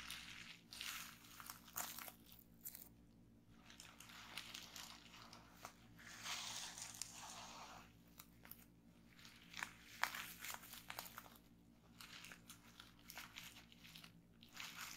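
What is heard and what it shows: Fingertips with long painted nails press and pop the air-filled bubbles of a folded sheet of clear plastic bubble wrap lying on a wooden table. Bright, crisp crinkling and crackling of the plastic is broken by sharp, quick pops that stand out above a faint, steady low hum. The popping and rustling continue in irregular bursts throughout.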